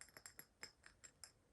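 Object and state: Moss agate plate tapped.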